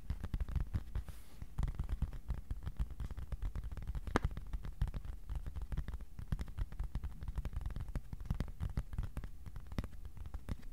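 A thin, flat white cardboard sheet, about A4 size, is held in both hands and tapped continuously with the fingertips. The result is a steady stream of quick, soft, dull taps with a low, papery thump and almost no ring.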